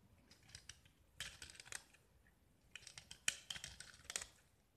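A small solid gypsum tile painted orange and white is held in the hand and scraped with a metal utility knife, shaving off white gypsum flakes. Quiet, dry, bright scraping and crisp scratchy ticks come in several short bursts with quiet pauses between them. Each stroke dies away almost at once, with no ring.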